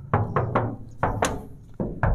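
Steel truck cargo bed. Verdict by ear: Solid.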